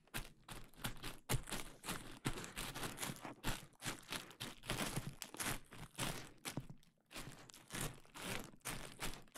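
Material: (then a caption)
Plastic. A large clear plastic bubble wrap sheet is draped over the microphone while fingers pinch and pop its bubbles and crinkle the sheet. The result is a continuous stream of close, quiet crackling, sharp little pops and bright plastic rustling, with brief pauses between bursts.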